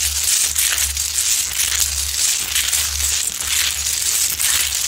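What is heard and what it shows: Long nails aggressively scratch the rough top and front surface of a large, solid Himalayan rock-salt lamp, producing a continuous bright, gritty crunching and rasping texture. A steady low hum runs underneath throughout.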